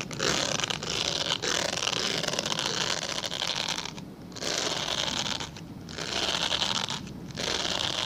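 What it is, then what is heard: Glycerin soap bar being scratched. Fingernails scratch and scrape across the surface of a translucent solid glycerin soap bar, leaving visible scratch marks. The result is a dense, bright, rasping scratch in long bursts, with brief quieter dips between them.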